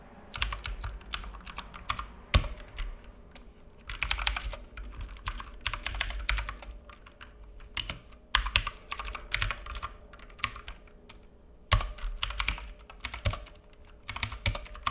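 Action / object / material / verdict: tap / plastic mechanical keyboard / plastic / none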